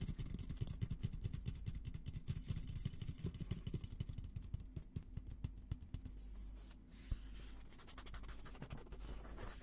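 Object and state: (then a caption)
Steel military helmet. Fingertips and short nails scratch and tap the dome of a hollow, olive-green painted steel military helmet. Rapid, dull, hollow taps mixed with scratching fill the first six seconds, each tap dying away almost at once. The sound then thins to softer, brighter scraping, with one brief, sharper scratch near the seventh second.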